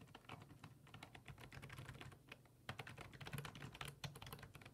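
Fingertips type on a black plastic full-size desktop keyboard resting on a wooden desk, then the hands leave the keys at the end. Quick, uneven bursts of clicky keystrokes are heard, each a bright tap over a low thud from the board, dying away almost at once.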